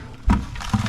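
An old steel fuel tank from a 1968 Ford F250 truck is shaken by hand, giving three low, hollow thuds with a short gritty rattle of loose debris inside. The tank is dry, holding only dust and junk and no liquid.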